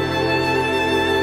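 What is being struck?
Nothing is struck.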